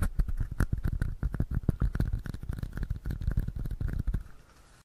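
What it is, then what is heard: Plastic cup (empty). A small, hollow, empty red cup, likely plastic, is held in both hands while fingertips and short nails tap and scratch around its sides. About 25 quick, dull taps come in an uneven flurry, heavy in low thuds with faint brighter scratchy ticks. The tapping stops just after four seconds and the sound drops to a faint hush.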